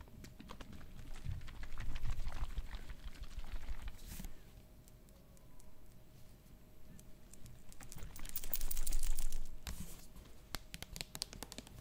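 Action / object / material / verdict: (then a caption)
tap / plastic bottle filled with liquid / plastic / none. Long nails tap rapidly on a medium plastic bottle full of yellowish liquid and on its label. The result is a steady patter of light clicks with dull low thuds and crinkly scratching. The sound swells louder twice, around the second and ninth seconds, before settling back to a softer tapping.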